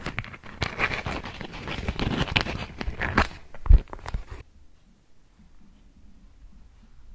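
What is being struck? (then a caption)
Beeswax-coated cotton food wrap. A thin polka-dot beeswax-coated cotton food wrap is crinkled and scratched with long nails up close, giving dense, crackly crinkling with sharp snaps and a louder thump near the end of the handling. After about four seconds the sound drops to near silence with only a faint low hum, then a final soft click.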